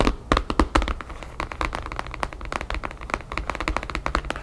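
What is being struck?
Paper-covered photo album.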